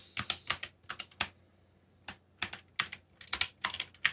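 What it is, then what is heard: Plastic mechanical keyboard. Fingertips type on a backlit mechanical computer keyboard with plastic keycaps, making bright, sharp clicky taps with very short ring. The taps come in quick bursts with a pause around the middle, and no low rumble underneath.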